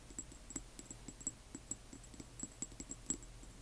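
Long nails tap and scratch a small frosted amber glass serum dropper bottle holding liquid and wearing a paper label, then tilt it. About fifteen quiet, quick clicks sound over a low steady hum, each with a short, bright glassy ring that dies away almost at once.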